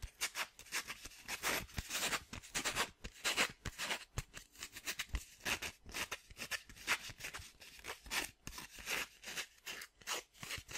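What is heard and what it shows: A small, thin, flexible square of red sandpaper is held in both hands and bent and flexed by fingertips with dark-painted nails. It gives a rapid, continuous run of bright crinkling and crackling bursts from the gritty paper, with very little low end and almost no ring after each crackle.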